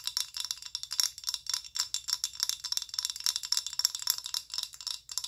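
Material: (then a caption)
Plastic. Long acrylic nails tap rapidly on a filled amber rigid plastic body lotion bottle of about 190 ml. The taps are bright, sharp clicks with almost no low end and a very short ring, continuing in quick uneven bursts for about five seconds.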